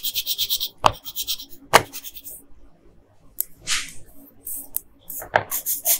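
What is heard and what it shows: A hand with long pink nails rubs a yellow colored pencil over the hair on a flat paper coloring page. It makes quick, bright, scratchy strokes in uneven bursts, broken by a few sharper knocks and a quieter pause near the middle.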